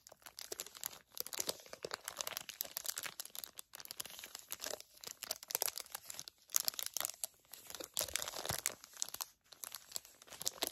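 Long nails crinkle and scratch a flat, clear-and-printed plastic package holding two gel eye pads. The result is a dense, bright crackling of quick crinkles and scrapes with almost no low end, broken by a few brief pauses.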